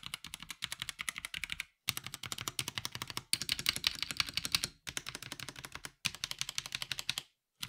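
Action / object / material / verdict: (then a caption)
tap / plastic mechanical keyboard / plastic / none. A 65% mechanical keyboard with a black plastic case and grey and white ABS keycaps, resting on a grey surface, is typed on by the fingertips of both hands in a typing test. Bursts of rapid, short, bright clicky keystrokes are heard, with brief silent pauses between bursts.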